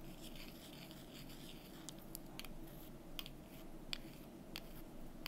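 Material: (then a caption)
Wood. Long nails scratch and tap small, solid, painted wooden calendar number cubes held in the fingers. Soft, continuous scratching runs under a low, steady hum, broken by several sharp, bright, quick-fading taps.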